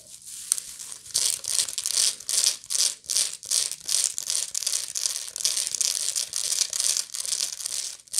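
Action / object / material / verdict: scrape / woven straw bag / straw / none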